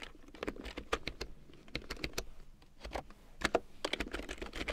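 A black plastic computer keyboard with large yellow plastic keycaps printed in black, lying on a fur rug, is typed on with fingertips and long painted nails. Quick, uneven bursts of bright plastic clicks and clacks follow one another, each dying away almost at once, over a soft low thump from the key strokes.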